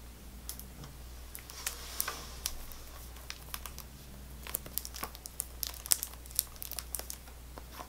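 A small Extra gum pack, a paperboard box still sealed in clear plastic film, is held in one hand and tapped and scratched with long fingernails. Quick, bright crinkly clicks and scratches come in an irregular stream over a quiet, steady low hum.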